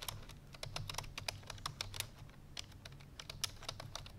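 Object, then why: Plastic computer keyboard. Fingertips with long painted nails press the keys of a full-size black plastic computer keyboard resting on a white fur rug. A fast stream of short, bright clicking taps plays over a low background hum.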